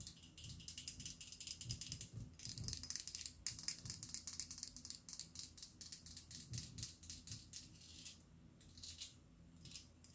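Long black acrylic nails rapidly tap and scratch a clear, hollow glass perfume bottle with a rhinestone-studded collar, partly filled with liquid and held in front of a mic. The result is a dense, uneven stream of bright, crisp clicks and scrapes that die away almost instantly, over a faint low hum.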